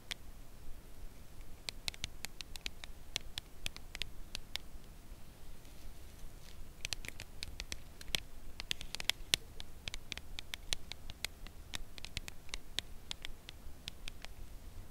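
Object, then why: Cardboard chocolate bar box. A full red Lindor cardboard chocolate bar box, held at an angle, is tapped on its edge with long nails. Many short, dry clicks with a bright ring near 3.5 kHz come at an irregular, unhurried pace over a quiet low rumble, each dying away almost at once.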